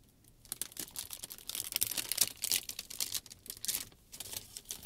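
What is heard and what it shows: A clear, folded sheet of plastic shrink wrap film is lifted and crinkled by the fingers. After a brief quiet start, it gives dense, bright crackling and crinkling in uneven bursts of sharp, dry clicks that stop almost at once, with very little low end.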